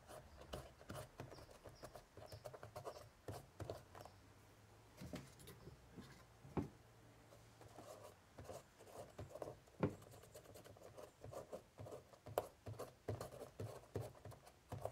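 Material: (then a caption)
Straw. A cotton swab scratches and pokes quickly along the edges and grooves of a woven straw basket lid. It makes quiet, dry, irregular scratching and soft tapping, with a few sharper pokes standing out among the rustle.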